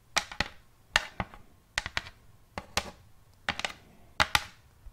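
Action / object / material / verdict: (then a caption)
tap / round wooden plate tapped with fingernails / wood / none. Long painted fingernails of both hands tap a round wooden plate lying flat in front of the microphone. The taps come in quick pairs, each a sharp, bright click that dies away almost at once, with a light woody tone around 840 Hz. There is little low end and near silence between the pairs.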